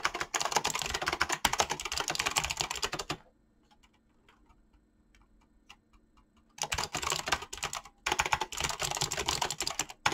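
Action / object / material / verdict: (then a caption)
tap / mechanical keyboard with plastic keycaps / plastic / none. Fingertips with short painted nails type fast on a full-size Razer mechanical keyboard with clicky green switches and pink-blue dyed PBT plastic keycaps, resting on a desk. Dense bursts of bright, sharp clacks and clicks fill the first three seconds, then fall to a near-silent pause with only faint scattered ticks. Rapid typing resumes around 6.6 seconds and continues, with a brief break near 8 seconds, to the end.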